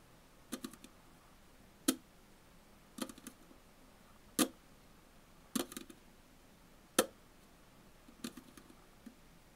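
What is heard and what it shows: Long fingernails of both hands tap on the top of a Tully's aluminum coffee bottle can lying on its side on a table, sealed and likely full. Sharp, bright clicking taps with a short hollow knock come in an irregular pattern: single crisp strikes alternate with quick flurries of lighter taps. Each tap dies away almost instantly, leaving soft background hiss in between.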